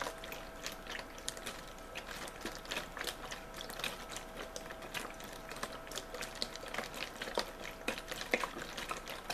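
A clear plastic (PET) drinking bottle with a blue-and-white label, hollow and possibly holding a little water, is held in both hands and crinkled with fingertips and nails. Dense, bright crackles and sharp ticking clicks run steadily and quietly throughout, over a faint steady mid-pitched tone.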